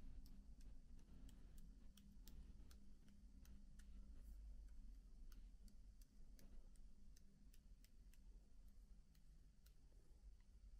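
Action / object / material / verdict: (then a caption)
tap / plastic laptop keyboard keys / plastic / none. Fingertips tap and flutter softly over the black plastic keycaps of a MacBook keyboard, producing a steady run of light, sharp clicking ticks with a bright edge. The quiet taps sit over a constant low hum that dominates the sound.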